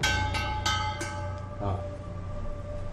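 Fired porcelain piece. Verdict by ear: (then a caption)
Well-fired. A freshly fired porcelain micro-writing piece, just out of an 800-degree firing, is struck four times in quick succession and rings with a crisp, bell-like tone centered near 1.5 kHz, like a stone chime. Bright overtones linger for over a second over a steady low hum. The piece came out translucent and bright, and the clear ring shows the firing was successful.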